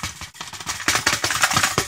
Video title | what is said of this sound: DIY - FYI Toaster Smokes, bad for YOUR health | shake it some more get everything out of there that rattles because it should not rattle